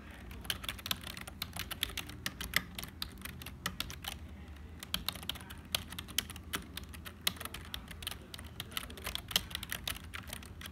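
Fingertips of both hands type on a black HP plastic membrane keyboard with hollow keys. Rapid, irregular, bright clicks and clacks have short, dry decays over a faint low rumble, with a few louder keystrokes standing out.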